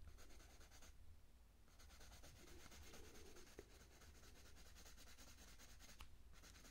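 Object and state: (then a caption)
Coloured pencil shading on a paper page. A purple wooden coloured pencil is rubbed back and forth over a thin printed paper page of an open colouring book lying flat, shading a petunia petal. A steady, quiet, scratchy rubbing continues throughout, with a low background hum and two brief pauses in the strokes.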